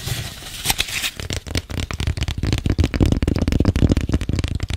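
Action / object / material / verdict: tap / corrugated cardboard box / cardboard / none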